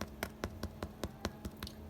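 A finished homemade bread loaf is tapped nine times in a steady rhythm, each tap a short, dry knock with a quick decay over a faint low hum. The crisp crust comes from steam added in the oven, and the loaf sounds crusty and baked through.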